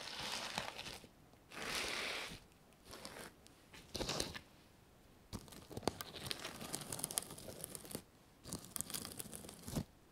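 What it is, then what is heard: Reversible sequin fabric. Fingertips and long nails brush and stroke across a flat sheet of reversible sequin fabric lying on a table, flipping the sequins so a patch turns from gold to white. Bright, crinkly rustling swishes come in bursts separated by short pauses, with sharp clicking ticks as the sequins flip over.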